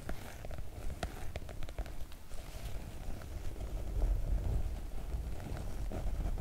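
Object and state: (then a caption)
Oilcloth make-up bag. Long coral nails tap and scratch across a floral PVC-coated oilcloth make-up bag using both hands. Quick, irregular clicks and brief scrapes sit over a steady low rumble that swells slightly midway, with very little bright content.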